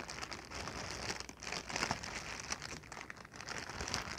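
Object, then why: Inflated plastic air-cushion packing pillow. A clear, inflated plastic air-cushion packing pillow, hollow and air-filled, is held in the hands and crinkled and tapped with fingertips and long nails. A steady, bright crackling crinkle runs throughout, dotted with quick, light taps and short swells of louder rustling.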